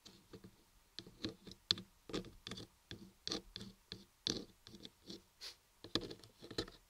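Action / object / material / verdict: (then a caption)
tap / carved block of laundry soap / soap / none. A long nail and a fingertip tap and scratch the top and front face of a large, solid white laundry soap block carved with raised lettering, with a mic set inside it. Quiet, dry, closely spaced taps and short scratches sound bright and crisp, with almost no ring after each one. There are many separate bursts with brief gaps between them.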